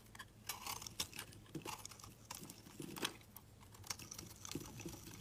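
A hand-held, cream-colored solid soap bar is sliced into thin shavings with a metal box-cutter blade. The quiet, bright, crisp scraping and crackling strokes come in quick, uneven bursts over a low steady hum.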